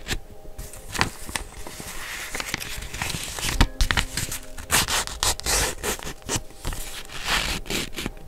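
A small flat sheet of white grid notebook paper, held up in both hands, is scratched and rubbed with long blue-painted nails. Dry, crackling scrapes and rubs come in quick, uneven bursts over a steady papery hiss, with a few sharper, brighter crinkles standing out.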